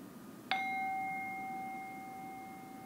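A small, hollow, empty hammered brass singing bowl resting on an open palm is struck once on the outside rim with a wooden mallet held in the other hand. It gives a single bright ding with a clear tone around 766 Hz and higher overtones, ringing on steadily and fading slowly to the end of the clip.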